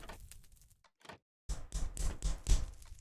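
An orange plastic Lego piece separator with a bit of flex to it is tapped against a microphone. Faint taps are followed by a series of louder, dull, bass-heavy thuds that die away almost instantly.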